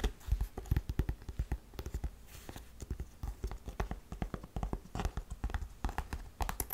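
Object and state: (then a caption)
Faux suede boot, tapped and scratched. Long nails tap and scratch the shaft and straps of a tall, tan, buckled faux suede boot that is hollow and empty. Dozens of quick, dull, low-pitched taps patter in an uneven rhythm, mixed with soft scratching, and each tap dies away almost instantly.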